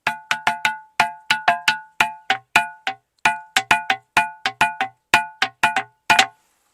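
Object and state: Ringing musical rock.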